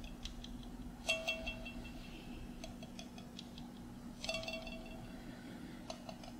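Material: Glass, metal.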